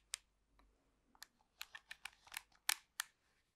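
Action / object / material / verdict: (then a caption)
tap / plastic remote control / plastic / none. Long pink acrylic nails tap and scratch the surface of a black plastic TV remote control with buttons. Nine quiet, sharp, bright clicks come in an uneven rhythm, with faint scratchy rustles between them. Each tap stops dead with no ring.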